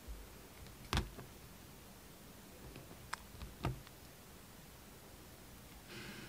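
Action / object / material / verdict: scrape / soap bar cut with a steel knife blade / soap / none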